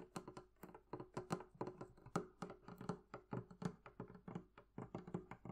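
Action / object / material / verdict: tap / wooden barrel-shaped chest with metal bands / wood / none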